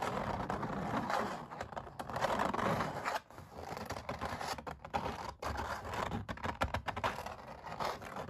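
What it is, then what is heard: Oil painting on canvas, scratched. Long black nails scratch and pick at the raised paint ridges of a textured oil painting of puppies on stretched canvas, with some fingertip tapping. Dense, dry scraping and crackling fills the clip, with a midrange emphasis and quick drops between bursts.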